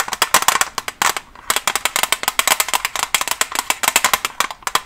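Long nails covered with paperclips tap quickly on a Staedtler pencil package, a plastic blister on a cardboard back holding pencils. About 33 sharp, dry, bright clicks come in rapid bursts with no low end, centered near 1 kHz. There is a brief pause just after the first second.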